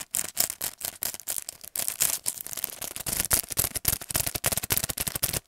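Fingernails tap and scratch the clear plastic front of a paintbrush set in plastic and cardboard packaging, held upright. The result is a fast, irregular run of bright, crisp plastic clicks and scratchy crinkles with very little low end.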